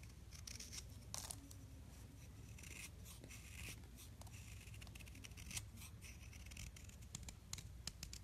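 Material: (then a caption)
Chalk. A metal knife blade scrapes and shaves layered flakes off a solid blue gym chalk block about hand length, held in the palm, with blue powder falling below. Quiet, dry, bright scraping strokes come in irregular bursts over a steady low hum, each stroke ending sharply.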